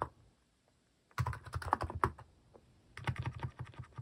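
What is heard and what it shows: Fingertips type on a cream Hanmumu plastic mechanical keyboard fitted with plastic cat and paw keycaps. A quick run of short, dry clacks with a low, rounded body and a midrange click is followed by a brief pause. A second burst of rapid keystrokes then continues to the end.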